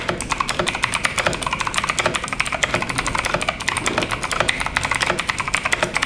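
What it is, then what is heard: Mechanical keyboard with clicky switches. Both hands type with their fingertips on a full-size RGB-backlit FMOUSE K904 mechanical keyboard, about 46 cm wide, with Outemu Blue clicky switches, double-shot ABS keycaps and a metal-covered top plate, lying on a white desk. A rapid, steady stream of sharp, bright clicky keystrokes follows, each dying away almost instantly with very little low-end weight.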